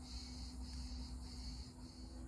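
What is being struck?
Nothing is struck.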